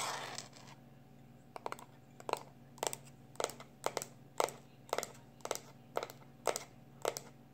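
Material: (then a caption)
Plastic. Fingertips and short nails of one hand scratch and scrape the surface and edges of a small black plastic external hard drive held in the other hand. After a brief soft rustle, a steady series of short, crisp, bright scratching bursts repeats roughly every half second over a faint low hum, each ending quickly.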